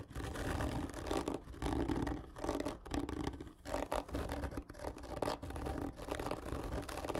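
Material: Cardboard.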